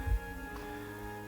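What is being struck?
Nothing is struck.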